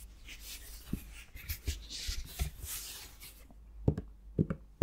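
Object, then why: Plastic shower gel bottle. A dark plastic Palmolive shower gel bottle, likely containing gel, is tapped and scratched with the fingertips and nails. Soft, breathy scratching rustles fill the first few seconds with scattered light taps. Near the end come sharper, hollow plastic knocks.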